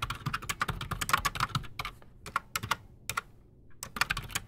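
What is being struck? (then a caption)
Mechanical keyboard with PBT plastic keycaps. Both hands type fast with their fingertips on a solid, full-size black Redragon Shrapnel K589 mechanical keyboard sitting on a desk. It has Outemu Silent Sky silent switches and Razer PBT plastic keycaps. Quick, dry, muted clacks centered around 1 kHz come in dense bursts separated by short pauses, each keystroke dying away almost instantly.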